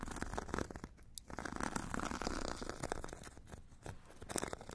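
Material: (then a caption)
Grit, foam. A metal stick scratches the purple abrasive grit layer of a solid, hand-held foam foot file with a white foam core. The result is a dense, raspy scratching made of rapid gritty strokes. It swells and dips over the clip, with occasional brighter, sharper scrapes.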